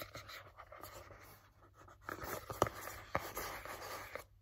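A hollow, blue printed cardboard box for a Halti dog headcollar is tapped and scratched with fingertips and nails. Soft, dry scratching fills the first two seconds, then a series of sharper, hollow taps with a midrange knock cut through. Each tap dies away almost instantly.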